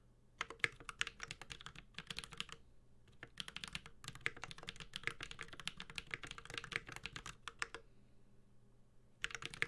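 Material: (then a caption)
Aluminum, plastic. A Space65 Cybervoyager 65% mechanical keyboard, with a white-gold aluminum case, plastic keycaps, a carbon fiber plate and Holy Panda tactile switches, is typed on steadily with the fingertips of both hands. Bursts of crisp, bright, clacking keystrokes, each dying away almost instantly, are broken by short pauses near two, three and eight seconds.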